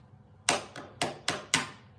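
A heavy metal American Express card is tapped five times, each tap a sharp, bright click with a brief metallic ring around 700 Hz. The clear ring marks it as a metal card rather than a regular one.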